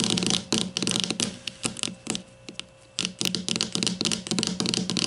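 Long fingernails on both hands tap rapidly on the plastic cap of a grey plastic deodorant stick lying on its side. The taps are short, bright plastic clicks in quick, irregular bursts, with a quieter stretch of lighter scratchy tapping in the middle before the fast clicking resumes.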